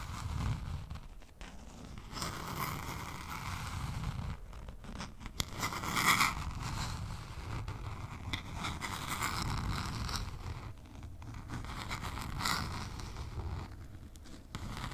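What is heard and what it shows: A small spiral-bound notebook with a lime green cardboard cover is held over the mic and scratched and tapped with long pink nails. Dry, zipper-like scratching and rustling comes in bright bursts over a steady low rumble, with occasional sharper taps. The sound stays quiet and close, rising and falling as the scratching sweeps across the cover.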